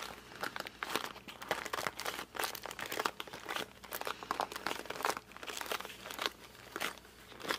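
A closed cardboard puzzle box is held in both hands, gripped and squeezed with the fingers and pressed along its top edge. It gives off a dense run of dry crinkling, crunching and squeaky creaks that die away almost at once, with no low rumble beneath. The bursts come quickly and unevenly throughout.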